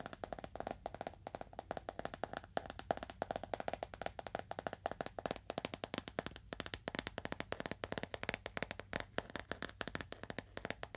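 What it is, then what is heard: Leather-bound book. Fingernails tap on a leather-bound book at a moderate to fast pace, making a steady stream of short, dry clicks with a mid-range, slightly hollow tone. Each tap dies away almost at once, with no ring between strikes.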